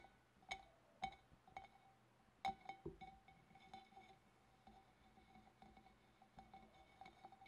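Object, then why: Glass fish bowl. Long dark-painted nails on both hands tap around the wavy rim and upper sides of a large, empty, hollow clear glass fish bowl. Irregular clinks ring briefly at a clear tone near 780 Hz with bright overtones, some taps loud and sharp, others soft and quick.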